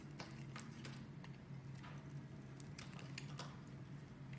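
A metal box-cutter blade carves chunks from the edge of a solid, rectangular blue and white striped bar of soap held in the hand. Soft, crisp cracks and crumbly scrapes repeat over a steady low hum, heard at a quiet level.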